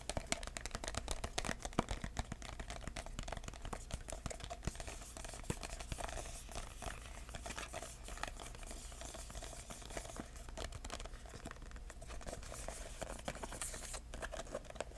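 A red, embossed, paper-covered cardboard box is held in both hands while fingertips tap rapidly along its edge and across its surface. The taps are soft, dull and closely spaced, with a faint crinkly paper texture over a steady low hum.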